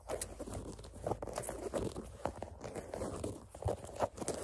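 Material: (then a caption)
Canvas. Long fingernails scratch and tap the black canvas side panel of a sneaker. A steady, dry rasping of scratches is punctuated by soft, dull taps with almost no ring. The sound stays mostly in the low-mid range with little high-end brightness.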